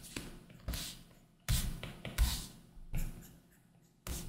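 A plastic Apple Pencil tip drags across a large iPad Pro's solid glass screen, which is covered by a matte Paperlike plastic film, in drawing strokes. Each stroke begins with a soft, low tap, followed by a bright, brief scratching hiss that quickly fades. The strokes come in an uneven rhythm, with quiet pauses between them.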